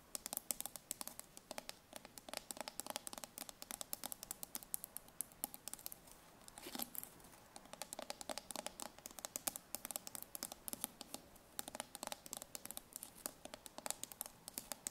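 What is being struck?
Steel tin can bottom.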